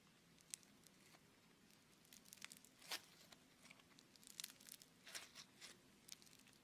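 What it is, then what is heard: Foam bead clay being kneaded and torn. Fingertips and thumbs knead, press and tear a palm-sized, solid and soft lump of red beaded foam clay (Floam). Quiet, bright crackling and crinkling pops and tearing sounds come in scattered bursts, with little low end and no ring after each snap.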